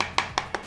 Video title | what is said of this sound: NENDANG BANGET ! Speaker Eggel Terra 3 Neo RGB Super Bass ,Power Kencang, dan Baterai Awet ! | dengar suaranya padat banget